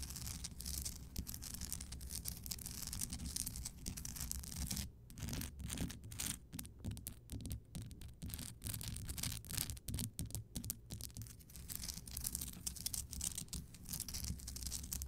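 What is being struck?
Rock salt lamp.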